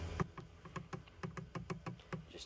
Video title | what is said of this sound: Dirt Cheap Walmart Super Tech Engine Oil DIY Change On 2016 Ford F-150 2.7L Eco Boost! | tapping tapping tapping and we're good to go you can hear that it's completely empty